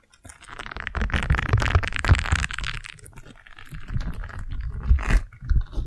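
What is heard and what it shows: A single round yellow silicone scrub pad is pressed around a microphone and scratched with long nails. The result is a continuous stream of crunchy, scraping rubbery friction with a heavy low rumble. It swells and fades over the clip without a clear end.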